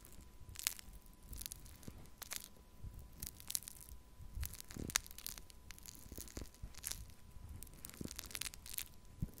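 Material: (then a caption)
Foam beads. A small plastic cup of pink foam-bead pearl clay is held up in one hand and scratched and poked with a thin wooden stick. The result is a quiet, irregular stream of bright crunchy crackles, squishes and sharp ticks over a faint steady tone.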